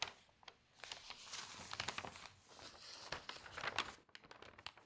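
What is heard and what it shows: A newsprint newspaper spread on a table has a page turned by hand and smoothed with the fingertips. The result is soft, bright crinkling and rustling with brief tearing-like crackles, ending in quieter scattered ticks.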